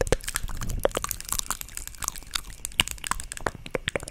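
The lid of a small, hollow white plastic cosmetic jar is tapped and scratched with long acrylic nails close to the mic. Rapid, dry, crackly clicks and scratchy rasps come in quick, uneven bursts. Each sharp tap dies away almost instantly with no ring.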